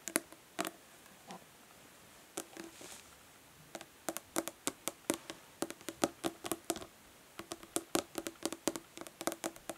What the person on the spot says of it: Nail tapping on plastic body lotion bottle.